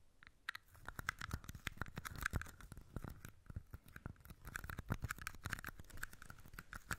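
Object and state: Plastic cups.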